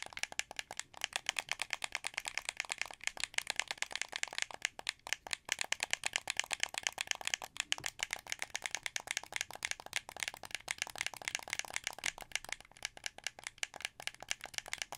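A blue plastic wired Xbox 360 controller with a hollow shell is held in both hands while the thumbs rapidly click its buttons and sticks. The result is a dense, continuous stream of sharp, dry, bright plastic clicks and rattles with almost no low end and no ring after each click.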